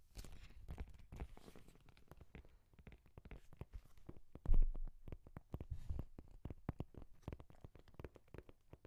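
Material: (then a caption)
Leather. Nails and fingertips tap and scratch the cover of a brown embossed leather journal with a strap, held in the hand. A rapid, irregular stream of soft, dull taps and scratchy rubs is heard, mostly low and muffled, with a louder brushing scrape about halfway through.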